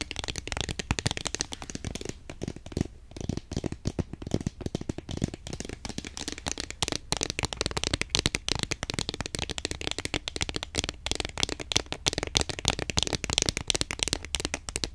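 A long, thin, hexagonal cardboard tube of HEM Egyptian Jasmine incense sticks, hollow with the sticks inside, is held horizontally and tapped quickly with long acrylic nails. The result is a steady stream of rapid, dry, hollow clicks with a bright edge and almost no ring, over a faint low rumble.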